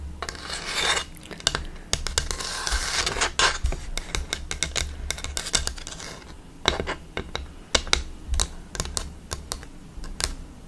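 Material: Bamboo.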